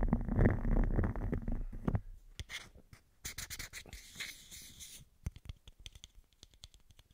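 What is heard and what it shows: A small, hollow, translucent white plastic bottle cap is held in the fingers close to the microphone and tapped and scratched with fingertips and nails. A dense, low, rumbling scratch fills the first two seconds, then gives way to sparse, sharp clicks and bright scratchy bursts. The clip ends with a run of quick, dry taps that die away almost instantly.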